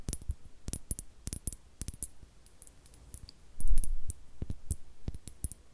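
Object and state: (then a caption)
Small glass bottle. A small, clear, hollow glass bottle that appears empty is held in the hands and scratched and tapped with long acrylic nails close to the mic. It makes quick, bright clicking taps with short ring and soft scratching between them, plus a louder low rubbing swell midway through.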